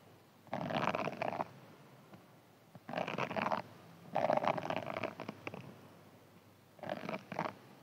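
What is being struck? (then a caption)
Foam sponge with scouring layer. A hand-sized green foam sponge with a scouring layer, held in the hands, is scratched and squeezed with fingernails. It makes four separate bursts of rough, crackly scratching with a midrange emphasis, separated by quiet pauses.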